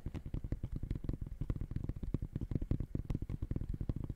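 Fingertips tap rapidly on the side of the synthetic mesh upper of an empty gray high-top sneaker held close to the mic. The result is a quick, steady run of soft, dull thumps, deep and muffled with almost no bright edge. Each tap dies away instantly.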